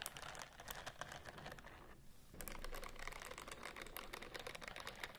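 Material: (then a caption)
Silicone. Long nails scratch and rub across the bristle rows of a white silicone scrubbing glove held close to the microphones. The result is a quick run of crisp, dry clicking and scratching with bright, brittle edges. The sound dips briefly to a soft hiss partway through, then picks up again slightly louder.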